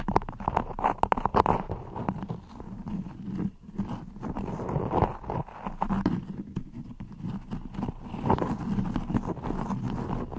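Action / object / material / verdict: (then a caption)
scrape / beeswax-coated cotton wrap over a microphone / waxed cotton / none. Long red-painted nails on both hands scratch and tap a crinkly floral cotton beeswax wrap stretched over a microphone. The result is a dense, close, papery crinkling with quick dry taps that stop instantly, a warm low body and a rustling midrange, and no bright edge.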